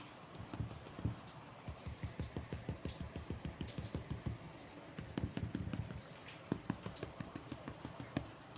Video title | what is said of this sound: Tiger nut milk bread. - Easy bread recipe with fewer ingredients - How to make bread at home-. | once you can hear the hollow sound, then your bread is properly baked.